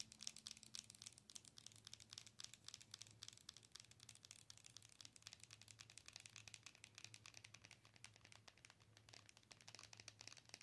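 Long nails rapidly tap and scratch the front of a hollow, glowing plastic owl night light held in both hands. The result is a quiet, dense stream of bright, dry, crinkly clicks and scrapes with no ring, over a faint low hum.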